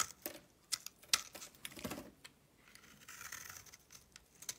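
A solid pink soap bar held in the palm is carved with a blade, making soft, crisp scraping and shaving sounds in uneven strokes. The sound is quiet and mostly high and bright, with short sharp clicks and brief crinkly rasps.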